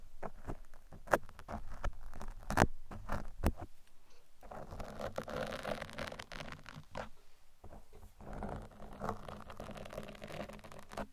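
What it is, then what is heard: Foam microphone windscreen being scratched. Metal tweezers and picks are dragged and scratched across a large black open-cell foam microphone windscreen. Sharp close clicks and taps early on give way to longer stretches of dense, muffled scraping and rustling. Bright crackly bits run through a heavy low rumble.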